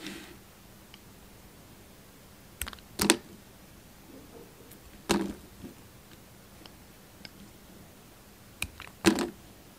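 A yellow utility knife blade slices and scrapes pieces off a solid Palmolive soap bar, held in the hand and mostly carved down to its white core. Several short, crisp cutting and scraping strokes come in separate bursts with a bright edge and a little low body. Each dies away almost instantly into near silence.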